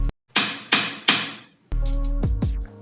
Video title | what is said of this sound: Tripod Takara VIT-283!! Fitur Mewah Harga Murah -- unboxing & review | di bagian tengah tripod Sangat disayangkan bahan yang dipakai berupa plastik yang kalau diketuk itu berasa kopong